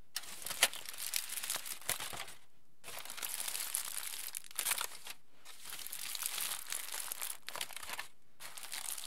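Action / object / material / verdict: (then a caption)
shake / aluminium foil sheet / aluminium foil / none. A large sheet of aluminium foil, held above a dark surface, is squeezed and crumpled into a loose ball with both hands and fingertips. Dense, bright crinkling and crackling comes in bursts separated by brief quiet pauses, with a few sharper crunches standing out.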